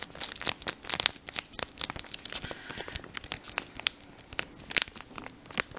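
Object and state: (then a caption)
Paper leaflet being crinkled. A thin, folded, printed paper instruction leaflet from a mouthwash pack is held in both hands, crinkled and rubbed between the fingers. The result is a steady run of bright, dry crinkles and sharp crackling snaps that stop instantly, with almost no low end.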